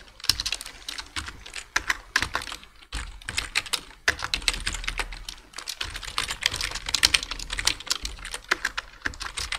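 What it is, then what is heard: Plastic computer keyboard. Rapid fingertip typing from both hands on a black plastic full-size computer keyboard with hollow key switches produces a steady stream of short, bright, clacky key taps. The clicks are dry and decay almost instantly, with little low end beneath them.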